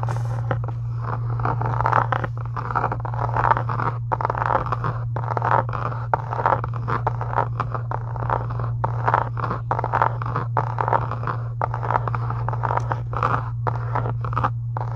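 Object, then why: Faux leather journal cover. Long acrylic nails tap and scratch over the textured embossed cover of a closed, pink faux leather journal resting on a desk. Quick, dry, papery taps and scrapes follow each other in a busy run, centered in the midrange, over a steady low hum.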